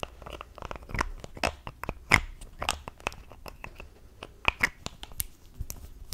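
Long acrylic nails tap and fiddle with the pink plastic cap and body of a small mint-green plastic cosmetic tube held in both hands. The result is a quick, irregular string of sharp, bright clicks and crisp taps with no ring, some a little louder than the rest.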